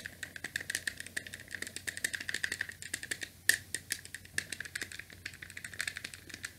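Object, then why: Plastic game controller. Fingertips tap and press the buttons and D-pad of a small, hollow grey plastic NES game controller with a cable. A rapid, uneven run of light, dry plastic clicks with no ring-out, bright and centered around 1.8 kHz with a hollow rattle. One sharper, louder click stands out midway.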